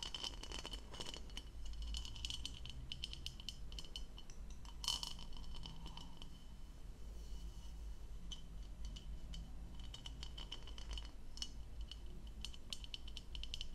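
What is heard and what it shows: Long pale nails rapidly tap and scratch across the textured, diamond-patterned bowl of a hollow, empty turquoise plastic stemmed goblet held close by. The result is a dense run of quick, dry clicks and scrapes with a bright ring near 3 kHz over a steady low hum, with a louder burst of tapping near the five-second mark.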